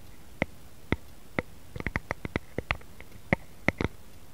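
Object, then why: Wooden rice paddle. Fingertips and short nails tap and scratch the blade of a solid, light wooden rice paddle lying flat, using both hands. About fifteen short, dry taps sound in an uneven, playful rhythm, some spaced out and some in quick clusters. Each tap is a brief click with a woody midrange tone that dies away instantly over a quiet background hiss.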